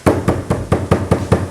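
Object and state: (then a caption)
Termite-hollowed plywood panel. Eight hollow, dull taps on a plywood TV unit, its inside eaten by termites, each knock short and low-pitched with almost no ring or brightness. The tapping shows this section and the next spot are completely hollowed out.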